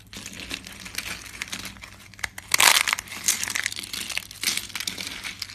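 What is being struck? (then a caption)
Soap flakes. Thin, dry tan soap flakes are broken and crumbled between fingers with red nails. A continuous stream of bright, crisp crinkling and crunching snaps is heard, with a louder burst of crushing near the middle. The flakes crack apart into shards.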